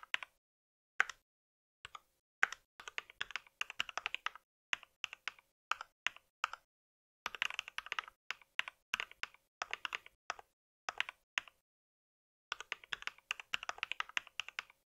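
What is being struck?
Plastic mechanical keyboard.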